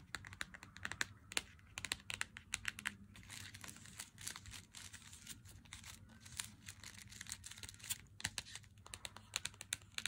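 Fingernails tap rapidly on the back and then the front of a full Lindt Excellence 90% chocolate bar in its cardboard box. The result is a quiet stream of crisp, bright clicks with a papery crinkle between them, over a faint steady low hum.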